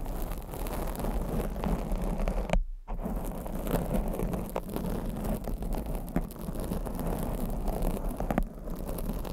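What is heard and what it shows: Long blue acrylic nails scratch over the top and sides of a black foam microphone windscreen. The result is a steady, low, muffled rumbling scrape with soft crackles and rustles, briefly cutting out near the three-second mark and dipping again just before the end.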